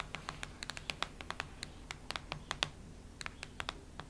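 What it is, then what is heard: Hardcover notebook. Long red nails scratch across the cardboard cover of a cactus-print hardcover notebook. About 22 quick, dry clicks and scrapes sound bright and crisp over a low, steady background hum. Each one dies away almost instantly.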